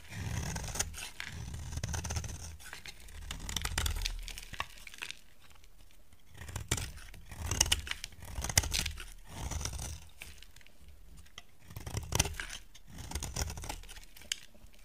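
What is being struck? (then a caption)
Soap bar scraped with a blade. A utility knife blade scrapes along a solid lilac soap bar, peeling off curls that fall away. Repeated dry, crackling scrape strokes come in bursts, with a soft low rumble under bright, gritty shaving texture and brief quiet pauses between passes.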